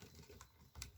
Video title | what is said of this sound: Easiest Terrain I have ever made for Games of Necromunda,Killteam or 40K | bigger piece doesn't sit. Hear that? Me tapping one side.